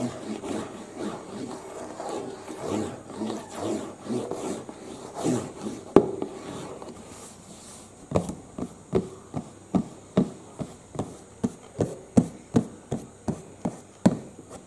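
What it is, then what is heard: Cardboard box. Fingertips work on the printed top panel of a medium-size, hollow cardboard UPS box lying flat, first producing about eight seconds of steady, rhythmic rubbing and scratching. This gives way to a string of short, dry, hollow taps with a low-mid thud and almost no ring. The hand lifts away near the end.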